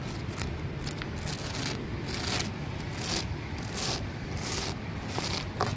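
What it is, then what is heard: Rough concrete flower pot being scratched. Fingertips and nails scratch the porous surface of a large, solid grey concrete flower pot, making repeated dry, gritty scrapes with bright, hissy bursts. A steady low rumble runs underneath throughout.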